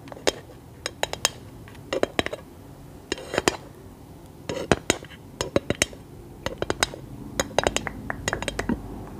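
A scented candle in a glass jar is tapped with long nails, producing rapid, bright glassy clinks in irregular clusters over a quiet background. Each tap is sharp and brief, with only a short ring.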